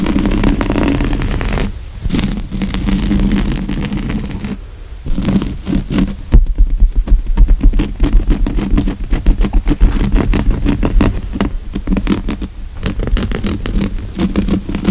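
Fingernails scratch quickly across the coarse woven grey upholstery of a padded, soft but solid couch seat, close to a microphone lying on the cushion. The dense, rapid scratching strokes are low and muffled, with brief pauses near 2 and 5 seconds before growing busier.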